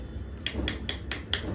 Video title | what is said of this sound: WATERMELON గ___? కట్టింది - Oyenaniofficial | గట్టిగా అయింది అసలు ఎందుకు ఇదిగో సౌండ్ వస్తుంది టక్ టక్ టక్ అని సౌండే